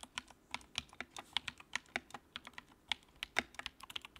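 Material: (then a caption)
Plastic. Fingertips type on the keycaps of a compact, backlit white plastic mechanical keyboard, producing a quick run of about 24 sharp, bright clacks over four seconds. Each keystroke is short and dry, with almost no low end and virtually no ring.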